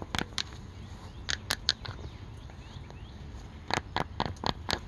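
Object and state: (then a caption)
Fabric bucket hat tapped. A dark green cloth bucket hat with a stitched brim, soft and hollow, is held up outdoors and tapped and scratched with fingertips and paperclip-covered nails. Eleven short, sharp, bright clicks come in quick bursts, with faint scratching between them. A steady low patter of rain continues in the background.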